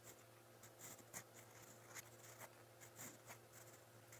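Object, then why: Steel pen nib on a paper notebook page. A steel fountain pen nib scratches steadily across a lined white page of a spiral notebook while writing in brown ink. Quiet, bright, papery scratching comes in short irregular strokes over a faint steady low hum.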